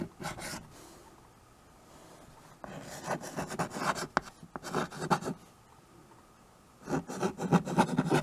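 White chalk held in the fingers writes on a small handheld chalkboard with a wooden frame, its strokes scratching across the board surface. Brief bursts of dry, raspy scratching come in three clusters separated by quiet pauses, with the longest run in the middle. The strokes are quick and uneven, with a bright edge over a soft low rub.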